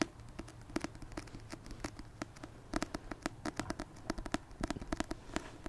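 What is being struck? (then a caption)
Paperback book. Fingertips tap repeatedly on a paperback copy of the Christmas rom-com book "A Merry Little Meet Cute," making around thirty short, dry taps with a soft, hollow papery body. The taps come in irregular bursts over a quiet, low background, each one cut off almost instantly with no ring.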